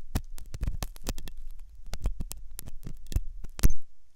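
A metal dental pick scrapes and clicks inside the hollow ear canal of a white, soft silicone ear on a binaural microphone. It makes a fast, irregular run of crisp clicks over a muffled, deep low thumping. A louder click near the end leaves a brief, bright metallic ring.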